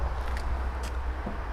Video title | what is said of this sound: Hyères - Boston Whaler, marque de référence, indissociable de Mas Marine (83) | vous allez cogner contre la coque ça sonne plein